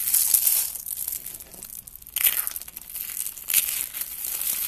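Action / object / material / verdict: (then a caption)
scrape / soap curls / soap / none. Two hands with long red nails grab thin, brittle, hollow spiral curls of dry blue and black-white soap and crush and crumble them into flakes. The sound is a dry, bright crinkling crunch with almost no low end, swelling in bursts near the start, around 2.3 seconds and again around 3.5 seconds, with quieter rustling in between.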